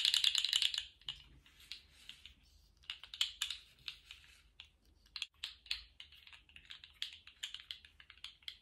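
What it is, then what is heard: Plastic articulated slug fidget toy. A small segmented plastic articulated slug fidget toy is held upright and then horizontal in lace-gloved hands, its segments wiggled and shaken so they rattle. A dense burst of bright, dry plastic clicking opens the clip, then gives way to sparser, irregular light clicks and rattles. The sound is all high and crisp, with no low end and almost no ring after each click.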